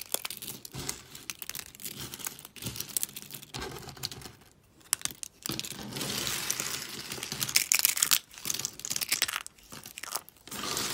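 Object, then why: Brittle soap flakes. Small, brittle, pastel dry soap shards are snapped with the fingertips and crushed in a fist. Dense, bright, crackling crunches and crinkles come in bursts separated by brief quiet gaps, with very little low end.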